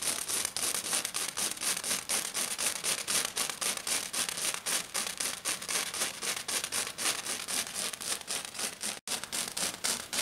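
A hand with black nails scratches and taps fast across a flat silver glitter-covered sheet. It makes a steady run of bright, gritty rasps packed closely together, with almost no low end. The strokes continue nonstop apart from a brief silent gap near the end.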